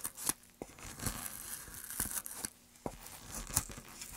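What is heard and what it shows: A small gouge cuts into a carved hollow in a solid, light pine softwood board held upright. Short, dry scraping and tearing strokes come in uneven bursts, with crisp, bright high-frequency hiss and sharp little attacks. Quieter gaps fall between them.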